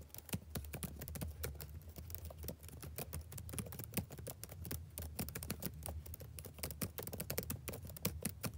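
Fingertips type steadily on a black plastic backlit laptop keyboard, making a quick, uneven run of soft, short key clicks with bright edges and almost no ring. A steady low hum sits underneath the whole time.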